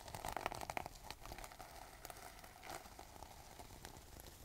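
A gold sequin fabric pouch is held close while long nails scratch and brush across the sequins, flipping them. A dense burst of quick, crinkly clicking and rustling in the first second, with a bright buzz around 700 Hz, settles into quieter scattered scratching and rustling for the rest of the clip.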